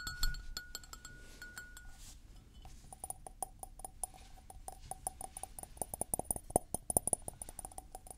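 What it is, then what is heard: Porcelain mug. A white floral porcelain mug, hollow and empty, is held in both hands, tilted and tapped with fingertips and nails. Quick, dry clicks come in a steady stream, each with a short ringing ping, over a high, bright sheen and a low rumble underneath. The taps grow denser and louder toward the end.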